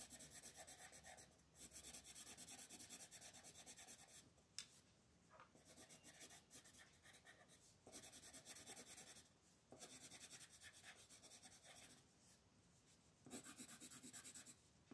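A wooden colored pencil is rubbed in fast, scratchy shading strokes across a flat paper coloring book page. The bright, dry rasping comes in bursts of continuous strokes separated by brief quieter pauses, with little low end. The page and table stay unchanged.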